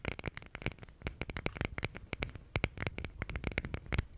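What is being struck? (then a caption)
Thin plywood box. Long pink nails scratch and tap along the wood grain of a small, thin plywood box or panel held in both hands close to the microphone. The result is a rapid, uneven series of dry, crisp clicks and scratches with a soft low thump beneath and a bright edge on top. Each sound stops almost instantly.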